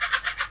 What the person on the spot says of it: es klingt nicht wie eine Bombe